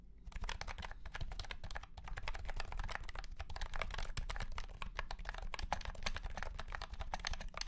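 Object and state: Plastic keyboard with round keycaps.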